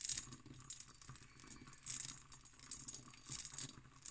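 An empty, hollow hobnail-pattern cut glass decanter with its stopper is tapped and scratched with long green nails. The result is a quiet run of bright, high clicks and scrapes in uneven bursts, with soft rattling and crinkly textures between them.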